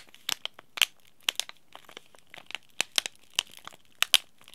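A small, sealed, green laminated plastic and foil tea bag sachet is crinkled and crushed between the fingertips. About 14 sharp, dry crackles and crinkles come in irregular bursts, bright and thin, with almost no low end and a glint near 3 kHz. Each crackle cuts off almost instantly with no ring, leaving short quiet gaps between them.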